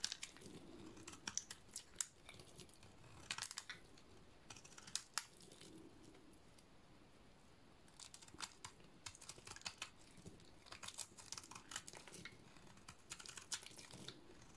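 A solid, dry, cream-colored bar of soap is shaved with a snap-off utility-knife blade, long curls peeling away. Bright, crisp scraping and cutting clicks come in clustered bursts with short pauses, each stroke dry and quick with almost no ring.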